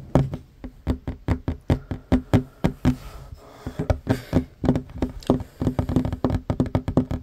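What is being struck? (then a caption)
Wooden tabletop. Fingertips and short nails tap fast on a solid wooden tabletop, first with one hand and then with both hands. Each tap is a dull, woody knock with a low thump and almost no ring, coming in a quick irregular stream that briefly thins out midway before getting denser.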